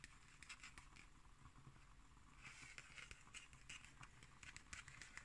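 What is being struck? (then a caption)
Cardboard hardcover notebook. Long green acrylic nails scratch and tap the cover of a black cardboard hardcover notebook with a red spine and paper label, held upright on a wooden table. Quiet, crisp, bright scratching and clicking taps patter steadily over a low, soft rumble.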